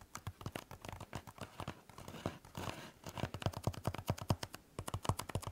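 Fingertips and nails tap quickly on the textured surface of a blue EVA foam exercise roller held horizontally. The result is a rapid run of soft, dull, low-heavy taps that die away almost instantly, broken midway by a brief scratchy rustle before the quick tapping resumes.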